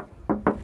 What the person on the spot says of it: Jadi Atos itu diketok bodinya wajib kaleng, karena mobil ini pada dasarnya dia tipis.